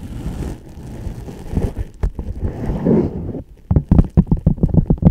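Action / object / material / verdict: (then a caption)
tap / leather ankle boot tapped and scratched with fingernails / leather / none. Long dark acrylic nails scratch and tap the leather upper of a single black leather ankle boot, hollow and empty and held upright close to the mic. A dense, low, muffled scratching rustle fills the first three seconds. After a brief pause, it gives way to a quick, uneven run of short, dull, hollow taps with almost no ring.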